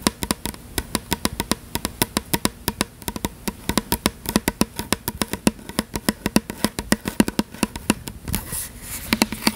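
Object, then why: Plastic fragrance mist bottle. A tall "Butterfly" fragrance mist spray bottle with a purple and blue label, plastic, is held upright in one hand and tapped with the long nails of the other hand. It makes a fast, steady run of crisp, dry clicks with a hollow tone around 220 Hz that dies out almost instantly. A brief soft brushing sound comes near the end.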